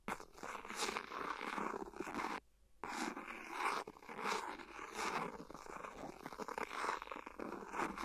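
A ballpoint pen tip scratches and taps the edge of an empty, hollow, thin clear silicone phone case lying flat on the recorder. The result is a dense, soft rasping with quick ticks, centered in the midrange near 1 kHz with bright hiss on top. It pauses briefly around two and a half seconds before resuming.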